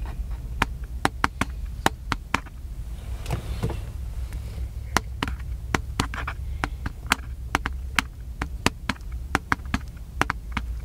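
A small black plastic handheld camcorder with a hollow body, held in one hand, is tapped by the fingertips and nails of the other hand. About 29 short, sharp, dry clicks come in an irregular rhythm, each bright and dying away almost at once over a steady low rumble. Softer scratchy handling noise fills the gaps.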